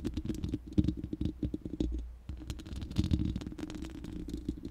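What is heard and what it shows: Long manicured nails of both hands scratch and tap the uncovered, hollow round steel mesh grille of a large studio microphone. A rapid, uneven patter of short, dry taps and scratches comes through with a deep, boomy low thump, briefly easing into a low hum near the two-second mark before the tapping resumes.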